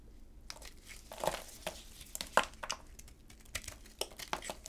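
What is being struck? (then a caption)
Bar of soap cut with a blade. A solid orange dry bar of soap, its glossy red coating already peeled off, is held in black-gloved hands and shaved and cut with a utility knife blade. Soft, dry scraping runs under a series of crisp, crunchy cuts that crackle brightly and stop short. The overall level stays quiet and close.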